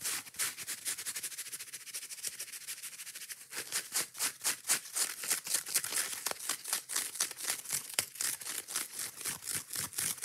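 Long nails rapidly scratch and tap the soft yellow foam side of a kitchen sponge with a scouring pad, held up close. A fast, dense run of fine, bright scratching gives way after about three and a half seconds to louder, separate raspy strokes and taps. These come in a quick, uneven rhythm with almost no low end and no ring after each hit.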